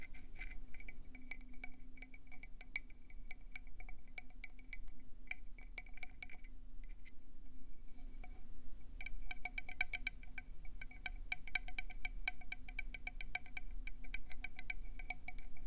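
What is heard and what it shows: A conch seashell is tapped rapidly with fingers or nails, giving many bright, glassy clinks with a chime-like tone near 2.3 kHz that die away almost instantly. A steady low rumble runs underneath, and the taps thin out briefly around the middle before picking up again in dense bursts.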